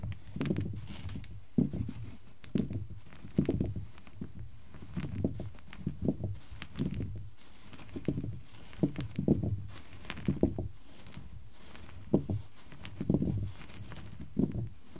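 Fingertips push and tap a set of small solid pine cubes resting on a black cloth, knocking them against each other. Dull, low wooden clacks come in loose, irregular clusters, each knock short and quickly damped, with faint softer shuffles between them.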